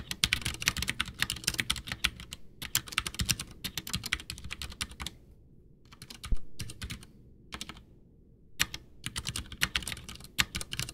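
A full-size white plastic Ducky One 2 mechanical keyboard with Cherry MX Brown switches, backlit with a hollow case, sits on a desk as both hands type with fingertips, pressing and tapping keys. Quick bursts of bright, clacky keystrokes with short, dry decay come in runs separated by brief pauses, over a low background rumble. A few heavier thocks stand out, such as one around six seconds.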